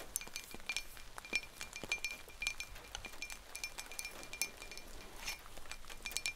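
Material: Ceramic.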